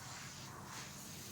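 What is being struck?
Nothing is struck.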